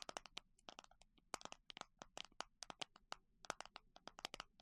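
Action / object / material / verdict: tap / plastic container of small clasps / plastic / none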